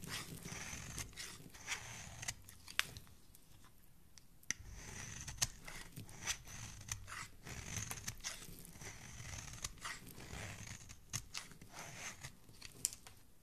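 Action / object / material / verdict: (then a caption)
scrape / bar of soap scraped with a metal blade / soap / none. A metal blade scrapes the flat face of a hand-held rectangular solid bar of purple soap, shaving off flakes and powder. Repeated dry, crunchy scraping strokes with a bright, gritty rasp are heard, broken by short sharp clicks where the blade catches. The sound stays quiet and close throughout.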